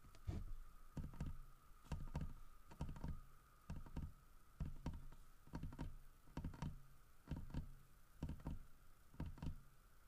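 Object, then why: Carved wooden bear statue. Fingertips and nails tap the grooved side of a large, solid carved wooden bear statue. Short, dull, low knocks come in quick little clusters with brief pauses between, each dying away almost at once, over a faint steady hum.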